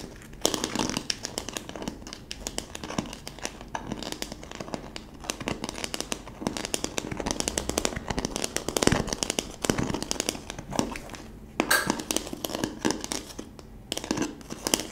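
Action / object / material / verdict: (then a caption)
scrape / plastic bottle wrapped in plastic film / plastic / none. A hollow plastic bottle wrapped in clear plastic film has its wrapped base scratched with long nails. Dense, continuous crinkling and crackling rustle runs throughout, bright and scratchy, with short louder bursts near 9 and 12 seconds.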